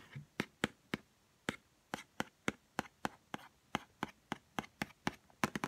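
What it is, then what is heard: Cardboard perfume box. Long nails tap a small white Chanel No5 cardboard perfume box while it is turned in the hands. The result is a quick series of short, dry, crisp taps with almost no ring, which bunch closer together at the end.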